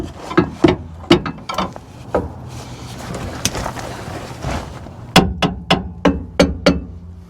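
A ball peen hammer lightly taps the leaves of a pickup truck's steel front leaf spring in a series of sharp metallic clinks with a short ring. Some taps come in quick bursts, with a faint hum underneath. The taps sound solid, with no loose or broken leaves, so the front spring is judged intact.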